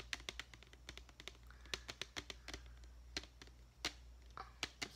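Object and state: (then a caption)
Clear plastic deli container. A medium clear plastic deli container with a lid, holding foam letters, is held tilted and tapped rapidly with long fingernails. Quick, dry, bright clicks follow one another with almost no ring, over a faint steady low hum.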